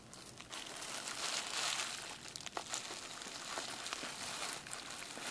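A clear plastic bubble wrap sheet has its bubbles pinched and popped with fingertips and thumbs. Steady bright crinkling and rustling of the plastic runs throughout, broken by short, sharp pops at irregular moments.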